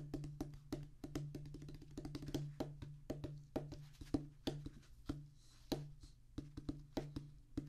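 A flat oval drum practice pad with a black rubber top on a thick, solid tan cork-like base is tapped and drummed with the fingertips of both hands. Dense, quick patters of dry, muted taps alternate with louder single accents, each dying almost instantly over a low steady hum. The hits stay soft and mostly low-pitched, with only faint bright clicks on the strongest strikes.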